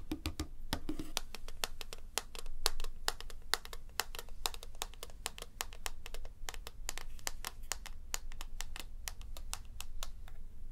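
Fingertips and nails tap and click quickly on the shell of a small, hollow white plastic wireless mouse resting on a table. The result is a rapid, steady stream of sharp, bright, dry clicks with almost no ring, over a low, quiet background rumble.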